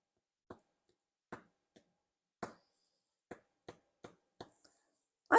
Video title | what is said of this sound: Drew’s News: Bread Making | i think it sounds pretty hollow